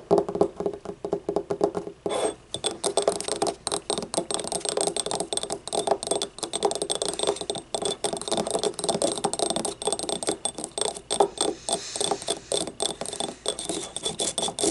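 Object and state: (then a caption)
Ceramic cup tapped and scratched. Long nails rapidly tap and scratch along the ribs of a small, hollow, yellow ribbed ceramic paint cup standing upright and empty. The result is a dense run of short, clicky taps mixed with raspy scrapes, each note dying almost at once. The taps carry a hollow mid-range tone around 400 Hz over a bright, hissy top.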